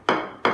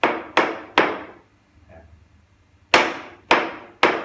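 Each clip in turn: First: floor tile, solidly bonded spot. Second: hollow spot under floor tile.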